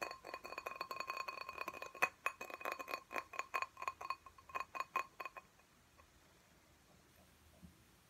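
A small clear glass tumbler filled with soil and a small potted cactus is held in one hand and tapped quickly on its side with the fingertips and nails. It gives rapid, bright glassy clinks with a steady ring around 2.5 kHz, and the taps grow more spaced out before stopping at about 5.5 seconds. Near-silence follows.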